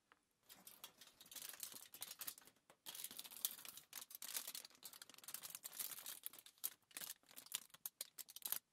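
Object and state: Crumpled aluminium foil sheet.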